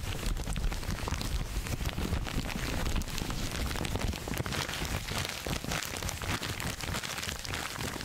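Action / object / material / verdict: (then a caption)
scrape / thin paper wrapping sheet / paper / none. A crumpled sheet of thin red-and-white striped wrapping paper is held in both hands close in front of the microphone and squeezed and crinkled with the fingers. The result is a dense, steady stream of crackling and rustling with a strong low rumble underneath and quick bright snaps scattered throughout.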